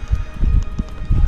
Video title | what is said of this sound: Exploring Japan (Part 2) - TAXES, FOOD, FARM, HOUSING - ARJAYV TV | Pag kinatok mo nga, kahoy siya.